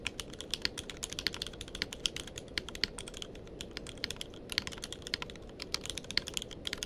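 Fingertips of both hands type continuously on a tenkeyless mechanical keyboard with plastic keycaps. The result is a steady stream of quick, bright clicks and clacks that stop short with no ring, over a soft low rumble.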